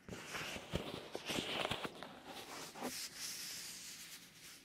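A black fingerless leather driving glove with holes rubs, presses and scratches against the white silicone ear of a binaural microphone, very close up. The result is close, bright rustling and scratching with a few soft, dull pressing thumps. Later it settles into a steadier, airy rubbing hiss.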